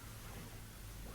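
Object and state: Nothing is struck.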